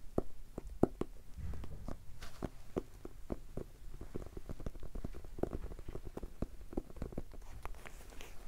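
A small, solid red hardcover notebook, held flat and then upright, is tapped rapidly with fingertips. The result is a steady stream of short, dull, low-pitched taps with no ringing.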